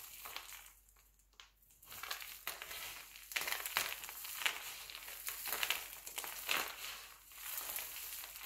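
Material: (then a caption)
Glycerin soap. Hands crush, crumble and rub a pile of mixed-color glycerin soap shavings, then press the flakes flat with the palms. The result is a dense, bright crunching and crinkling with crisp crackles, dipping to near silence briefly early on before the steady crushing resumes.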